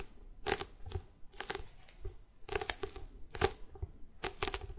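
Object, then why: Notebook with hard cardboard cover. A closed A5-size bullet journal with a solid, glossy printed hard cardboard cover is held up in the hands and tapped and scratched on the cover with long red-painted nails. Bursts of sharp, bright clicking taps and raspy scratches come in clusters about once a second, each dying away almost instantly, with a faint hollow low thump under the hits.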